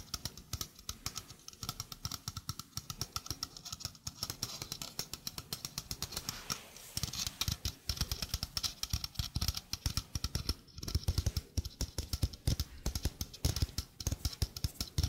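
A small hollow stainless steel mesh sink strainer, held in the hand, has its mesh and rim tapped rapidly with the fingertips. The result is a steady stream of dry, clicky taps with dull low thumps and a bright metallic tick, dying out almost instantly. The tapping grows somewhat louder and denser in the second half.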